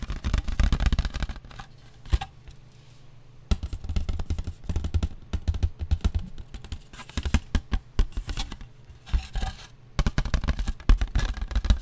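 A paper plate is tapped with the fingers in quick, uneven bursts separated by brief quiet pauses. The taps are dull and papery, with short scratchy textures and most of the energy sitting low.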